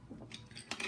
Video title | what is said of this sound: Dual Forms with acrylic time saving tip | you tap it sounds like plastic